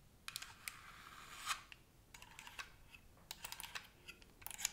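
Long nails fitted with paper clips tap and scratch quickly across the hollow shell of a white plastic gamepad. The result is a fast, irregular run of sharp, bright clicks and dry scratchy rasps that stop dead with no ring.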